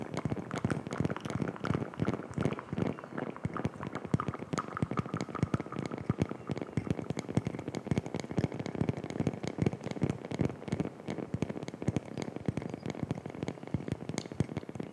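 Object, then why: Small flat wooden coaster. A round, flat, solid light wooden coaster about the size of a palm is held in both hands close to the microphone and scratched and tapped with long fingernails. A dense, continuous stream of quick, dry clicks and scratchy crackles runs throughout, mostly low and woody in tone with almost no ring after each tap.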